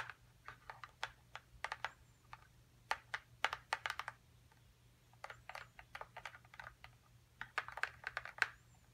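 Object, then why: Small printed cardboard box. Long acrylic nail tips tap quickly on the top and then the side of a small, hollow printed cardboard box for a dinosaur nest excavation kit. The taps come in fast, uneven bursts with short pauses between them. Each one is a dry, bright click that dies away at once over a faint low hum.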